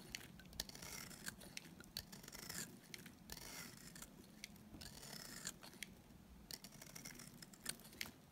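A small, solid, dry white bar of soap held in the hand is shaved with a utility knife blade. The blade makes quiet, bright, crisp scraping strokes, with sharp little clicks and crackles as thin shavings come away.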